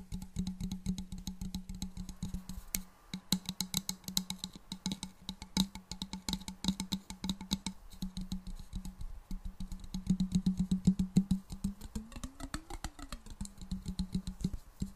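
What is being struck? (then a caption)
Glass jar partly filled with liquid. A medium clear glass jar, hollow and partly filled with liquid, is held and tapped with long black nails. Rapid, irregular clicking taps ring briefly and bright over a steady low hum, and near the end a tone rises and falls in pitch before the tapping continues.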